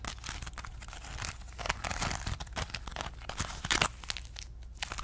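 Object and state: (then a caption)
Crumpled aluminum foil ball. A small crumpled ball of aluminum foil is held in the fingers and scratched, squeezed and crinkled with long nails. It gives a dense, continuous run of sharp, bright crinkles and crackles over a faint low hum. The crackling swells briefly louder near the end.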